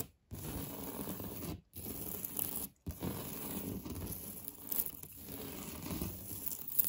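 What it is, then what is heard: Textured drywall wall scratched with fingernails. Fingertips and nails scratch and rub across a solid, beige, knockdown-textured painted drywall interior wall. The result is a dense, low-heavy rasping scrape in three continuous stretches, separated by two brief silences. A faint steady high tone sits above the scratching throughout.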